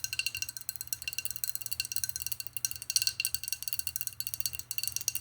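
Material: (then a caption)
Glass. Fast, aggressive tapping on a glass bottle holding dry herbs produces a dense run of short, bright clicks that ring high and die almost instantly. A faint low hum sits underneath.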